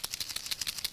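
A paper shaker box on a handmade card, assembled with dry adhesive so it can be shaken right away, is shaken to rattle the loose rhinestones floating freely inside. Seven quick, bright rattling bursts are heard, almost entirely high-frequency, with very little low end.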